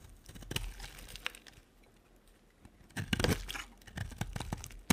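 A solid, dry, cream-coloured bar of soap held in the hand is carved with a small metal blade, with scraping strokes and the shavings piling up behind. Dry, crunchy scraping and crinkly shaving sounds come in short bursts, fall quiet for about a second in the middle, then return as a louder cluster of scrapes. The clip ends on a sharp click.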